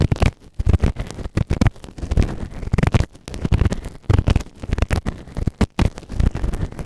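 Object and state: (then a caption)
Silicone ear microphone. A white plastic ear tool, held in the fingertips, scrapes inside the ear canal of a soft, solid grey silicone ear-shaped microphone on a round base. It makes close, muffled scratching and crackling with dense, deep rumbling thumps. Short bursts come rapidly and unevenly, with little brightness.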